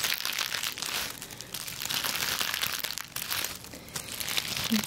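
A large hand-held bundle of papery, brittle dried sage leaves is grasped and squeezed by the fingertips of a hand wearing a ring. It gives a steady, bright crinkling and crunching that swells and fades across the clip.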